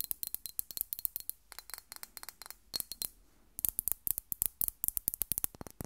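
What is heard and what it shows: Long nails tap and scratch the flat glass faces of a rectangular Miss Dior glass perfume bottle with a ribbon bow, held up and partly filled with pink liquid. About 37 short, bright clicky taps come in quick bursts with brief scratches, with a short pause just after the three-second mark. Each tap dies away almost instantly, giving a dry, high-pitched glassy ticking.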